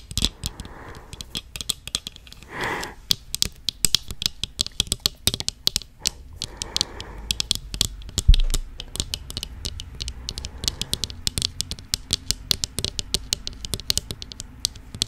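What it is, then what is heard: Metal wire-frame eyeglasses. Thin round metal wire-frame eyeglasses with clear lenses are handled and tapped on the frame and lenses with long acrylic nails and fingertips. The result is dozens of quick, sharp, bright clicks and ticks with almost no ring, over a low background hum. A few soft rustling swells pass between the taps.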